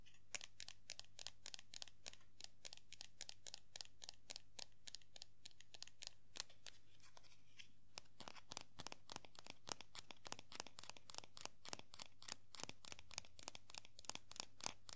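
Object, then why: Small vinyl figure. Long nails tap and scratch the hair of a small hollow vinyl Sailor Jupiter Funko POP figure held in the hands. The result is a quick, steady run of short, bright clicks with scratchy edges, some louder than others, over a faint low hum.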